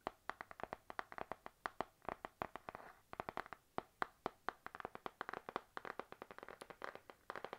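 Long nails tap rapidly on the glossy laminated cover of a panda-print spiral notebook held up in the air. The result is a quick, irregular stream of dry, crisp clicks with a bright, mid-high tone, almost no ring and very little low end, occasionally bunching into soft flurries.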